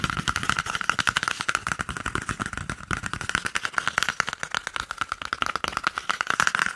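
An empty, hollow, hand-sized brown cardboard toilet paper roll tube is gripped in one hand and rapidly tapped and scratched with the fingertips and nails of the other hand beside the microphone. The result is a fast, dense stream of dry, bright clicks and scrapes with a hollow tone around 1.4 kHz that dies away almost instantly.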